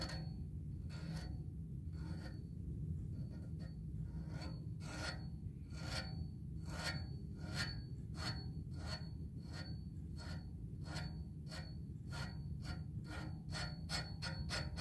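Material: Metal.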